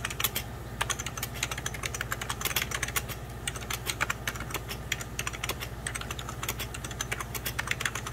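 Fingertips with medium pink nails type rapidly on the keys of a beige plastic 1990s Packard Bell computer keyboard. The result is a dense, continuous stream of short, bright clicks and taps with a steady low hum underneath.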